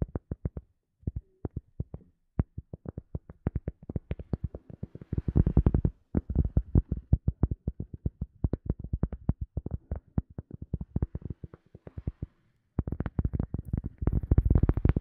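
A round cork coaster, held in both hands, is tapped with long nails in quick bursts of dull, low, thumping taps with almost no ring. The tapping speeds into dense flurries, pauses briefly around 2 and 12 seconds, then ends in a fast rush.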